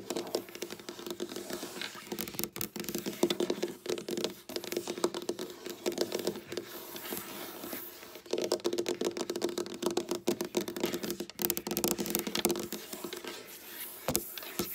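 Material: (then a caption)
Wood. Long black nails, with the fingers curled, scratch and tap across a flat, solid, dark wooden tabletop. Dense, rapid clicks and scraping strokes run continuously, with a faint steady tone near 350 Hz underneath. Each tap dies away almost instantly, leaving a dry, close sound.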